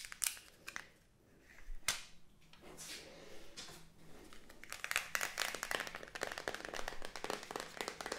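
A small, hollow, rectangular black plastic makeup palette compact with a round gold-rimmed pan is held in the hands, tapped and clicked with long nails while its lid is handled. Sharp, bright plastic clicks and taps come in quick, irregular bursts, with a few softer swishing sounds early on. The tapping grows denser and busier in the second half.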